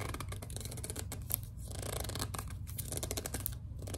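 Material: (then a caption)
Plastic. A small, hollow white plastic No7 lotion bottle is gripped and squeezed while long dark nails scratch across its label. The result is a dense run of quick, dry scratching and gripping sounds with bright, crackly edges over a steady low hum.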